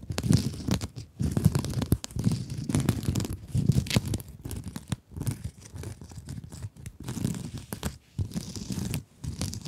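Long acrylic nails scratch a rectangular blue mesh scrub sponge close to the mic. The sound is a dense, rapid, crinkly rasping with a full, low-heavy body and faint bright edges, coming in steady bursts broken by brief pauses.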